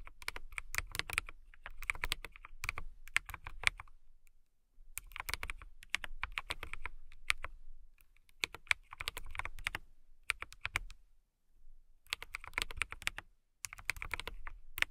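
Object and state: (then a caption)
Acrylic mechanical keyboard being typed on. Fingertips and long nails type on a transparent clear acrylic mechanical keyboard resting on a fluffy rug. Bursts of quick, bright clacking keystrokes with a soft low thud beneath them are separated by short silent pauses. Each click is crisp and dies away almost instantly.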